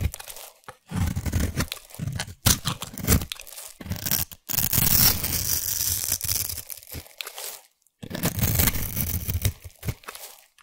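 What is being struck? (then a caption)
Bar of soap. A solid orange bar of soap, held in one hand with long white nails, is scraped with a small black abrasive blade or grater tool, shaving crumbly curls onto a pile of soap shavings. The strokes make rough, crunchy tearing and scraping sounds in bursts separated by brief pauses, with a full low rasp and a bright, gritty crackle on top.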